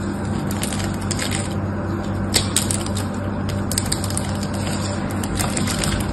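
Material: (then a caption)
Soap. A metal knife blade scrapes and cuts dry flakes off the top edge of a solid pink soap bar held in one hand. Crisp, bright scratchy crackles and flaking sounds continue steadily over a constant low hum.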